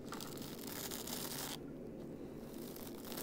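Fingertips scratch and rub a small, soft fabric plush Ursula doll with a shiny black dress, held in both hands, producing a steady, close, scratchy rustling. The sound is bright and hissy for the first second and a half, then turns duller and softer as the high end drops away, before brightening slightly again near the end.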